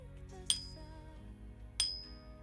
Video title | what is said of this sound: Finding Deals! #silver | we'll give it a a ping and listen to this one ring